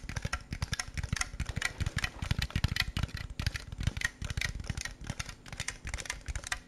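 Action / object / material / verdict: tap / plastic snack jar / plastic / none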